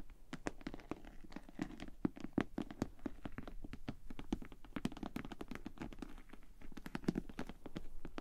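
Long painted nails rapidly tap and scratch the shiny front and sides of a hollow pink glossy PVC Ted Baker cosmetic bag held upright in both hands. The quick, crisp clicks each carry a short, hollow low thump, mixed with soft scraping between them, at a quiet level throughout.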